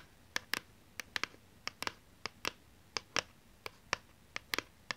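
Long painted nails scratch and tap the surface of a thin, solid, hand-held plastic PlayStation 2 game DVD disc. About sixteen sharp, dry, bright clicks land at an irregular pace, each ending almost instantly. They sit over a quiet hiss with almost no low end.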